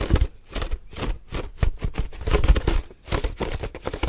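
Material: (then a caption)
Plastic. Fingertips quickly tap and grip the hollow walls of an empty, translucent white plastic milk jug with a label. The result is a fast, irregular run of dull, low, hollow thumps mixed with brief crinkly crackles.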